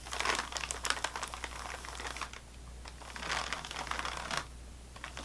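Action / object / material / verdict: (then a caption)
tap / crackers in a crinkly plastic wrapper / plastic film / none. Fingernails of both hands tap on top of an unopened sleeve of saltine crackers in a crinkly plastic wrapper. The result is rapid, bright, crackling taps and crinkles that come in bursts with quieter gaps. A faint steady low hum runs underneath.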